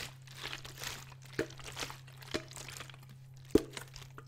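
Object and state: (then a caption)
Plastic water bottle with water, crinkled and shaken. A large clear PET Vittel water bottle with water inside is held sideways, turned, squeezed and shaken by hand, crinkling its thin plastic. Soft, bright crinkles and rustles run throughout, broken by three sharp cracks of the plastic, over a steady low hum.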